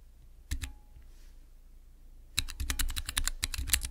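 Fingertips press and type on the transparent keycaps of a small, clear acrylic Cherry MX mechanical keyboard switch tester. Two sharp clicks come first, then a pause, then a quick, uneven run of clacky keystrokes. Each keystroke is short, with a low thock and a bright click.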